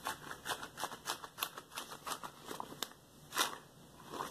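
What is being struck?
Rubber gloves.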